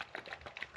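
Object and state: Bottle of thin, runny hair oil.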